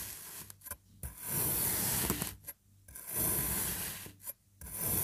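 A serrated knife slices across a solid orange kinetic sand slab shaped as puzzle pieces and already cut into strips. Long, gritty rasping strokes with a bright, hissy top are broken by brief near-silent pauses as the blade passes through.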